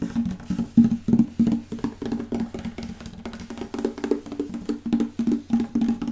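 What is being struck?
Wooden acoustic guitar back panel.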